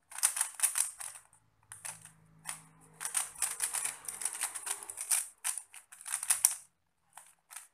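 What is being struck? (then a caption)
Plastic puzzle cube. A small 3x3 plastic puzzle cube with pastel tiles is turned in both hands as fingertips twist its layers. The result is bursts of quick, bright, dry clicks and rattles, each dying away almost at once, with short pauses between runs of turns and a faint low hum beneath part of the clip.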